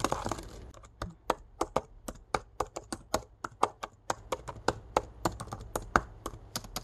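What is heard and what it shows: Fingertips type and tap fast across the backlit black plastic keys of a laptop keyboard set in an aluminum body. Sharp, dry clicks follow one another in quick, uneven succession, each dying away almost at once. A brief rustly wash opens the sequence.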